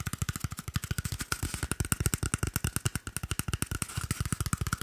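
A small, hollow, empty cardboard toilet paper tube is held close to the microphone and rapidly tapped and scratched with fingertips and nails. About 41 quick, dry taps sound in a steady, fast run. Each gives a low, hollow thump with a short, bright click on top and almost no ring.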